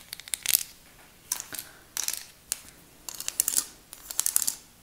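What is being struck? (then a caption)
Plastic display card with sample nail tips. A flat plastic nail color swatch chart, a display card with many sample nail tips glued on, is held up and tapped and scratched with long acrylic nails. Bursts of crisp, high-pitched clicking and scratching come in uneven clusters separated by short pauses, with almost no low end.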